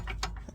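A loose steel drag link on a car's front suspension, badly installed and left untightened by a previous owner, is shaken by hand. It gives short, dull knocks and rattles. The loose link, not the bushings, is the real fault.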